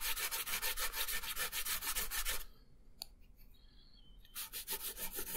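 A brown wooden colored pencil, held in the fingertips, colors a thin printed paper coloring page lying flat on a wooden table. Rapid, steady back-and-forth strokes make a bright, scratchy rubbing that stops for about two seconds with only faint light ticks, then resumes.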